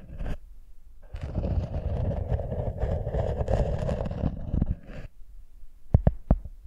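A round, rimmed cork coaster lying flat on a microphone is scratched with long nails, giving a brief rustle and then about four seconds of dense, low, rumbling scraping. Three sharp, dry taps follow at the end.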